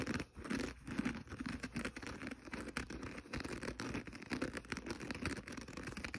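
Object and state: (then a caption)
Kitchen sponge scouring pad scratched. Fingernails scratch the green synthetic scouring pad of a small rectangular kitchen sponge, held in the fingers with the abrasive side facing up. The result is a quiet, continuous, rough rasping with fast, dense scratches and a bright, papery hiss over a low rumble.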